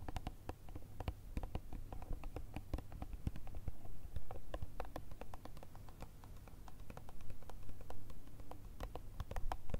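A small ribbed clear plastic jar with a plastic lid, filled with green-blue gel beads, is tapped and scratched with long red nails. Quick, irregular clicky taps and short scratches follow one another throughout, each dying away almost at once. A steady low hum sits underneath.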